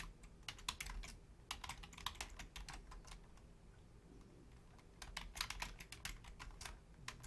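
Long painted nails and fingertips type on the low-profile keys of a full-size black plastic Logitech keyboard. Quick, sharp, bright clicks come in three flurries, with a quieter stretch of sparse taps in the middle, over a soft low background rumble.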